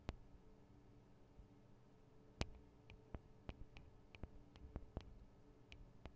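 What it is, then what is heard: Recorder microphone capsules (metal and plastic) tapped with nails. Long acrylic nails tap on the metal and plastic microphone capsules of a black Tascam DR-40 recorder, producing about fourteen short, sharp clicks with bright tips spaced irregularly across the clip. Each tap dies away almost instantly over a quiet, low, steady hum.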